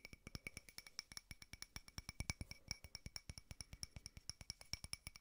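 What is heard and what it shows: A small frosted glass votive holder with a white candle inside is tapped quickly with fingertips and nails on its side and rim. About 46 short, dry clicks come in a rapid, uneven run, each with a thud at the bottom and a faint bright glassy tick near 2.3 kHz and higher. Each tap dies away almost at once.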